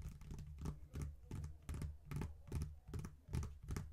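Both hands tap and scratch with long nails and fingertips on the surface of a closed faux leather wallet phone case with a strap clasp, lying on a table. Quick, soft taps land in a loose, uneven rhythm, each a dull low thump topped with a faint bright, scratchy click. Between the taps comes a light rustling scratch, all at a quiet, close level.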